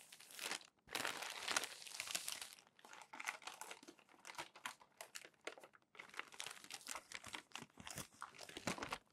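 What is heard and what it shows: A hand turns and flattens the crinkly pages of a crumpled glossy paper magazine. Dense, bright crinkling rustles fill the first few seconds, then break into many short, sharp crackles with brief pauses between.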